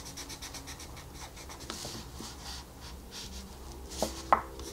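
A wooden colored pencil rubs back and forth over a flat paper coloring book page while shading, making a soft, steady scratchy rasp in quick repeated strokes with a bright hiss. A few sharper taps stand out near the end over a faint low hum.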